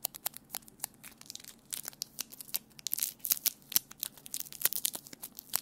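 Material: Plastic tape.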